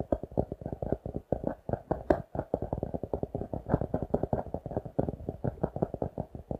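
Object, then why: Laminated cardboard notebook cover. Fingertips and nails tap and scratch the glossy laminated card cover of a notebook held upright. A rapid, steady run of dull, muffled taps with short scraping textures fills the clip, centered in the low-mid range with little high-end brightness. Each tap dies away almost instantly.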